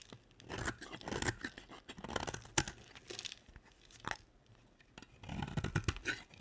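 A utility knife blade scrapes flakes off a solid, cream-colored, oval, stamped dry soap bar held in a hand with long nails. Dry, crunchy scraping and tearing strokes come in uneven bursts with sharp clicks, separated by short, quiet pauses.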